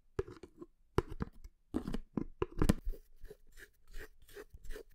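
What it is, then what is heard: Plastic supplement tub. Long nails tap and scratch the white lid and side of a hollow, medium red plastic creatine tub held against the palm, close to the microphone. About nine quick, separate taps ring with a hollow, low plastic knock. Brief scratchy rasps fall between the taps.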